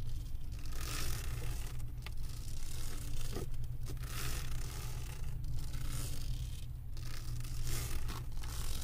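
Long acrylic nails scratch across the resin drills of a flat diamond painting on a canvas board. The result is a continuous dry, rasping scrape that rises in brighter hissy bursts every second or so, over a steady low hum.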